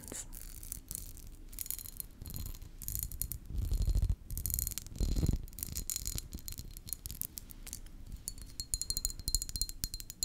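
A small glass perfume bottle with a glass cap, partly full of pink liquid, is held in the hand and tapped and scratched with long painted fingernails. Quick, bright glassy clicks and ticks come in dense bursts over a low, rumbling handling noise, with scratchy swells in between. Each tap dies away almost instantly, with little ring.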